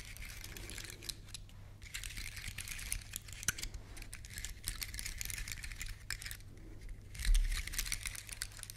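Long nails scratch and flick across the woody scales of a large, elongated, solid, dry brown pine cone. Dense, dry crackling and bright, raspy clicks come in bursts over a steady low hum, with a louder flurry near the end.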